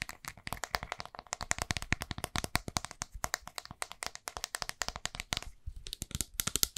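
Fingernails rapidly tap and click on the white flip cap and body of a clear plastic bottle holding some liquid, gripped in the hands. The result is a quick, steady stream of sharp, bright clicks with almost no ring and a light low thump beneath them, with a brief pause near the end before the tapping resumes.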